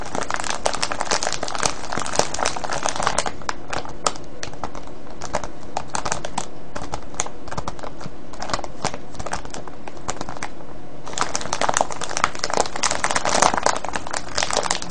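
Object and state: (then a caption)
Cellophane bag of foil-wrapped candies. Fingertips tap and crinkle a clear cellophane bag full of foil-wrapped candies, producing continuous bright crackling with dense, rapid transients throughout. The crinkling is busiest at the start and again near the end, with sparser taps in the middle.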